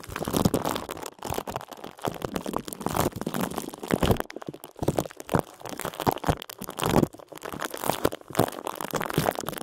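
Both hands grip, squeeze and crinkle the twisted top of a clear, thin plastic bag with their fingertips and short nails; the bag is wrapped around a small computer mouse, the only thing inside, so it is not full. The result is a fast, continuous run of dry, crunchy crinkling and crackling bursts that pulse in uneven waves with brief pauses between them.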